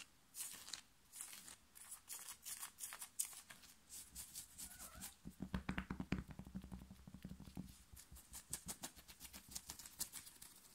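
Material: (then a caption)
Knit fabric. Fingernails rapidly and aggressively scratch the chest area of a worn black knit fabric t-shirt, with fingers also gripping the fabric. Quick, dry, bright scratching strokes come in dense bursts with a soft low rustle underneath, growing busier and louder in the middle of the clip.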